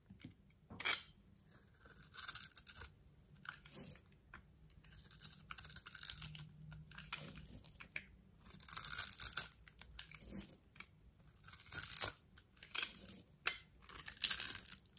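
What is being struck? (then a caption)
Bar of soap. A solid orange bar of soap with a grid-textured surface, held in the palm, is scraped and carved with a yellow utility knife blade, shaving pieces from its edge and face. Bursts of dry, bright scraping and crisp crunching come and go with short quiet gaps, with almost no low end.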